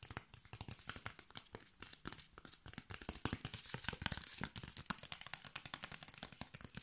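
A brown corrugated cardboard piece with its ridged edge exposed is scratched and tapped with fingernails. Quick, crisp taps and dry scratching rasps come in a dense, uneven stream, bright and papery, with each hit dying away almost at once.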